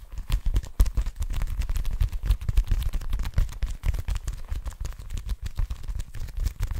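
Long nails tap and scratch the flat surface of a small blue leather wallet held close to the mic. The result is a dense run of quick, soft, low, muffled thuds with faint scratchy rustling between them.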